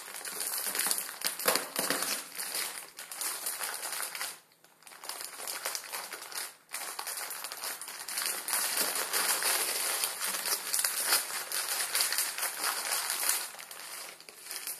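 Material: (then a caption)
Plastic film. A full, hand-sized Maruchan instant ramen packet, thin plastic film around a dry noodle block, is squeezed and crinkled with fingertips on a wooden table. Dense, bright crinkling and crackling runs almost continuously, dipping into brief near-silent pauses around 4.5 and 6.6 seconds before resuming steadily.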